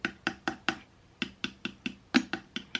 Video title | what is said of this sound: EBMX X-9000 Ver.2 VS KO Moto Factory Spec At a Glance Comparisons | feels like it's a lot more Hollow there's a lot more air inside this one